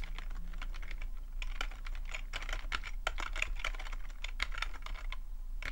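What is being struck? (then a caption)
Plastic membrane computer keyboard. Fingertips type continuously on a full-size black plastic membrane keyboard with a hollow plastic body, resting on a fuzzy rug. A steady stream of quick, short plastic taps and clacks rings briefly over a constant low hum.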